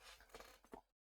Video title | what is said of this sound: Adding more goodness to the collection! | if you heard that, that's just hollow floor